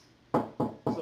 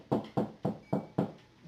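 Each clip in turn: First: hollow drywall cavity between studs. Second: drywall over a stud sounds dense.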